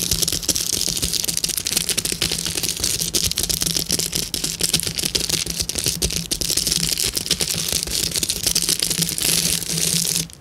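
A clear plastic bubble wrap sheet with hollow air bubbles is tapped and scratched with long nails, then gripped and crinkled by hand. The result is a dense, steady stream of bright crackles and clicks over a faint low hum, continuing at an even level until it drops away at the very end.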